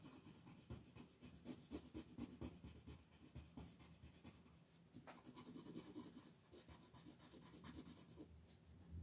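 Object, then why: Colored pencil rubbed on a paper sheet. A dark wooden colored pencil is rubbed in fast shading strokes across a flat white paper coloring sheet printed with a mandala, lying on a table, heard close up. The result is a continuous, rapid scratchy rubbing with a soft low body and a faint bright rasp that swells and dips with each stroke.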